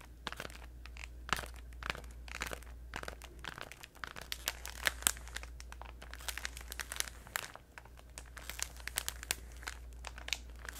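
A hand-sized pink Orbit chewing gum multipack in crinkly plastic packaging is held close to the microphone and crinkled and tapped with long nails and fingertips. Dense, sharp, bright crackles and clicks come in irregular bursts, with no ring after each one, over a steady low hum.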